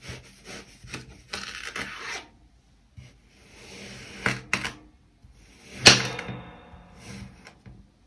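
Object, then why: Packed kinetic sand cut with a metal knife. A metal knife blade is pushed by hand through a solid, already sliced kinetic sand heart and its surrounding cylinders, cutting and scraping the packed sand pieces. Soft, gritty rasps and bright, crisp scrapes come in bursts between quiet pauses, with one sharper, louder scrape near the end.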